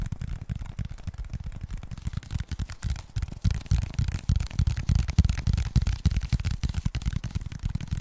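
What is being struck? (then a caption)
Plastic water bottle. Fingernails scratch and tap the label and plastic body of a clear, empty plastic Mount Franklin water bottle held upright. The result is a dense, fast stream of short, dull taps and scratchy crackles, heavy in low thumping tones with only faint high hiss, continuing unevenly through the clip.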